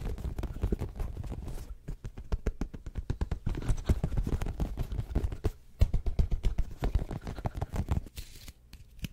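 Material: Rubber.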